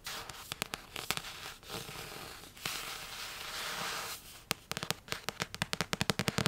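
Long painted nails tap on the glossy card cover of a solid Order of the Phoenix paperback, with a few sharp clicks and a stretch of soft scratchy rubbing. The clip ends in a quick run of bright, dry nail taps.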